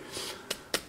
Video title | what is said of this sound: Oukitel U10 [Reviews&Tests] 5.5" FullHD JDI, 16MP 8MP, MTK6753, 3Gb RAM 16Gb ROM | ça sonne pas creux ça sonne vraiment le plein